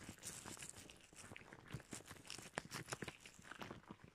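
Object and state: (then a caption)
Rubber gloves being rubbed and scrunched. Red rubber household gloves worn on both hands are rubbed together, clenched, and the loose glove material is scrunched. The result is quiet, close-up rubber squeaks and stretching sounds, full of dense, crackly, crinkling snaps with a bright edge.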